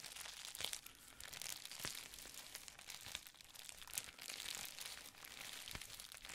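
A folded sheet of clear plastic bubble wrap is crinkled and scratched with fingertips and nails. The result is a steady, bright, hissy crinkling with sharp crackles and snaps scattered throughout, and almost no low end.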